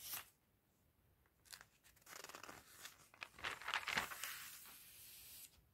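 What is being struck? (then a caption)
Glossy paper catalog. Fingertips with red nails and a white glove turn the thin pages of an open glossy paper fashion catalog lying on a table. Each turn makes a crisp, bright rustle and swish with papery crinkles, building to louder flicks near the end before fading back to quiet.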